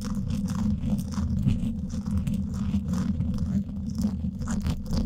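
Two thin wooden sticks scratch both sides of the woven steel mesh grille on the hollow dome of a Blue Yeti microphone. The result is a continuous, dense, low rumbling scrape with a steady low hum underneath, while faint bright scratchy streaks come and go in fast and slower strokes.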